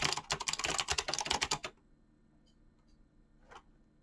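Fingertips type fast on a mechanical keyboard with clicky switches and pink-blue PBT plastic keycaps, producing a dense burst of bright, sharp clicks for about 1.7 seconds. The typing then stops, leaving near silence broken by one faint soft sound.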